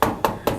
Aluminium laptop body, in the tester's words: there's really no flex anywhere in the body it's very rigid